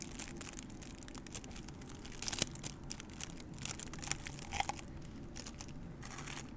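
A small white printed paper cup, hollow and apparently empty, is held close to the microphone while long nails scratch, tap and squeeze it. Soft, steady crinkling and scratching carries a low rumble and a bright, papery hiss, broken by sharp crackly taps. The sound stays quiet, with a few louder crunches near the middle.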